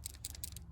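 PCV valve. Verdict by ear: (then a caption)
Gummed up. A removed PCV valve from a 2004–2008 Chevy Malibu is shaken by hand, giving three short, bright, high-pitched rattling clicks over a steady low hum. The valve is gummed up but not fully jammed, and it may have raised crankcase pressure and forced oil past gaskets and seals, so it is replaced.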